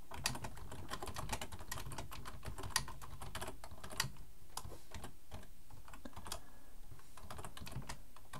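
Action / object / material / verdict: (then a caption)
tap / plastic computer keyboard / plastic / none. Both hands type with their fingertips on a black plastic full-size computer keyboard resting on a wooden desk. A steady stream of quick, short key clicks runs throughout, with a few sharper, louder taps standing out over a low background rumble.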